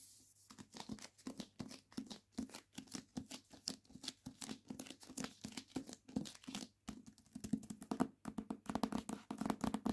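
A hardback copy of "Complicit" with a paper dust jacket is held in hand while its spine and its front and back jacket are scratched and rubbed with long nails. The result is a steady run of quick, dry scratching strokes with a bright papery hiss and a slight crinkle of the jacket, short bursts with almost no ring between them.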